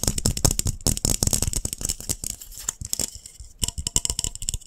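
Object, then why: Glass light bulb. A glass light bulb is tapped rapidly, about 29 quick, rattling taps. Each tap gives a dry click with a bright, high edge and a low thump, and dies away almost at once. The tapping thins out briefly just before the last second, then picks up again.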